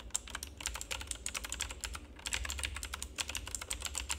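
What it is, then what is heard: Plastic mechanical keyboard, typing. Fingertips type continuously on a full-size black plastic mechanical keyboard with an RGB backlight. The clip is a rapid, uneven stream of short, bright, clicky keystrokes that cut off almost instantly, over a faint low hum.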